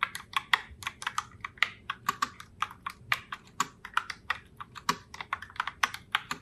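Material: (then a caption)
Plastic. Both hands with long nails type continuously on a pink Heartbreaker Rose Logitech Pop Keys mechanical keyboard with round plastic keycaps. About 34 quick, sharp plastic clicks come through with bright, crisp tops centered near 1.9 kHz, each dying away almost instantly with almost no low end.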